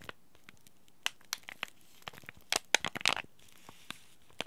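A small green laminated plastic-foil tea bag packet is held in both hands and crinkled and scratched by fingers and short nails. Sharp, bright crinkles and crackles come in scattered bursts, with a denser flurry near the end. Each crackle stops almost instantly, with very little low end, between quiet pauses.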